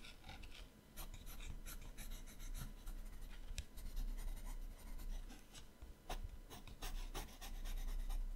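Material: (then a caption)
Paper. A yellow-orange colored pencil shades with rapid strokes on the right page of an open paper sketchbook. Quick, irregular scratchy rubbing sounds come in bursts, with bright grainy texture over a low rumble.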